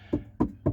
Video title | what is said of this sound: Sound Proofing (23) - Rear Door Panel Skin and Wiring - Main Cabin Part 2 | these bits are quite drummy around here